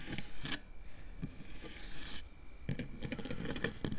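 Long nails, with the fingers curled, scratch and scrape across a round, hollow metal mesh microphone grille. The result is a steady, dry rasping texture with deep rumble underneath and short, bright scratchy bursts rising above it.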